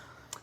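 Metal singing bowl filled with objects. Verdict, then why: Damped. A metal singing bowl filled with objects, including a piece of ginger and others standing for worries, is struck once. It gives only a short, dull, bright tick that dies away almost at once, and it does not resonate.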